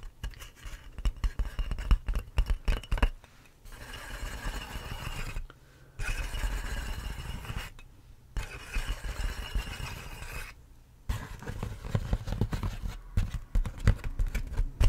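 Fingers and nails scratch and rub clear inflated plastic air-column packaging held close to the microphone. Bursts of crackly, crinkling scratches alternate with steadier, softer rubbing passages, and brief quiet gaps fall between them.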